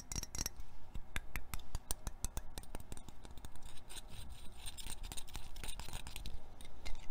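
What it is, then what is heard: Metal perfume spray can. Short painted fingernails tap and scratch a small silver metal perfume or body-spray can with a printed label, held in the hands. The can is hollow and likely filled. A quick, irregular run of sharp, dry clicking taps mixes with light scratching and rubbing over a low background hum.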